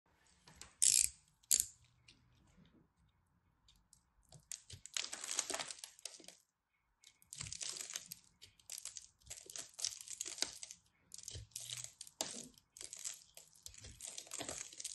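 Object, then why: Pressed soap-flake ball scraped with a small blade. A small craft knife carves and scrapes the surface of a fist-sized solid ball of pressed crumbled soap flakes in peach, blue and white, held in a hand with long red nails. Two sharp, bright clicks open the clip, followed by repeated bursts of crisp, high crunchy scraping separated by short pauses. Crunchy flakes fall away as the knife works.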